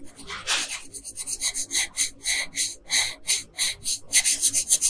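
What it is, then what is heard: Colored pencil shading on paper. A wooden colored pencil shades a thin paper coloring sheet lying flat on a table, rubbing back and forth in steady strokes. About fourteen short, dry, scratchy rasps come through, bright and hissy with almost no low end. They start loose and uneven, then settle into a quicker rhythm that grows a little louder toward the end.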